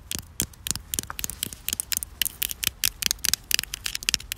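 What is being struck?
Concrete slab.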